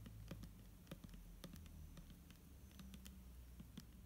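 A hand holds a hollow, clear plastic micellar water bottle containing liquid and taps the label area with long nails. The result is a quick, uneven series of light, clicky taps with short bright ticks over a low, steady hum.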